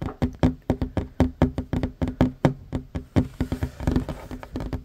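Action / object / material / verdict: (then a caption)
tap / wooden tabletop / wood / none. Short fingernails and fingertips tap quickly on a flat, solid wooden tabletop. The result is a fast, irregular run of dull, low knocks that die away almost at once, with a faint hollow resonance under each tap.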